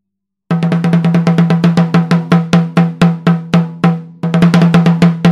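A Pearl Reference 14x6.5 snare drum with a 3 mm brass shell and a white coated head is struck on the head with a wooden drumstick, giving about 30 sharp strokes. The strokes start quick and even, spread out with longer ringing gaps, then pick up speed again. Each hit has a crisp attack and a strong low tone that rings under the roll.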